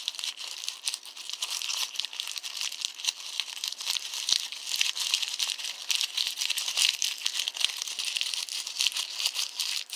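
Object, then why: Small crumpled thermal-paper receipt. A small, light, hollow ball of crumpled thermal-paper store receipt is squeezed and crinkled between fingertips and thumb. It makes a dense, steady stream of crisp, bright crackles and tiny snaps with almost no low end, lasting the whole ten seconds.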